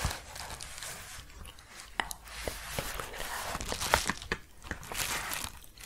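A large, empty yellow paper padded bubble mailer, held upright, is tapped and scratched along its surface and edge with long painted fingernails. Dry, crinkly scratching rustles beneath sharp, bright taps that stand out now and then, with a faint possible whisper in the background.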